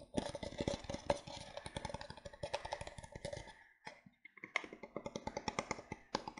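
Fingertips and painted nails tap rapidly on the sides and upturned base of an empty grey printed disposable paper cup, held hollow in both hands. The dense, dry clicks have a hollow, papery ring around 570 Hz with a bright edge, and each dies away almost instantly. The tapping thins out briefly near the four-second mark, then resumes in a sparser, crisper rhythm.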